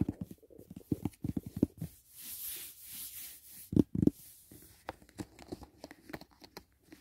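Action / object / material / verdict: tap / rigid paperboard gift box / paperboard / none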